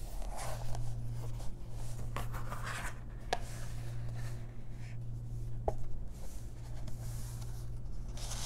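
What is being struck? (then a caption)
Softcover paper coloring book. Long press-on nails and fingertips handle the card cover of a large softcover paper coloring book, then turn and trace its paper pages. Soft papery rustles and scratchy tracing strokes are heard, broken by a few brief sharp taps and ticks. A steady low hum runs underneath throughout.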